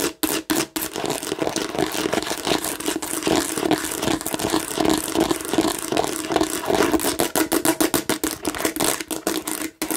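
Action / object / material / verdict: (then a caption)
scrape / plastic watermelon-shaped bottle / plastic / none. Long nails scratch quickly over the raised seed bumps of a hollow plastic watermelon-shaped bottle held sideways. The result is a dense, continuous stream of rapid bumpy clicks and scrapes with a hollow mid-range tone, broken by a few brief pauses near the start and just before the end.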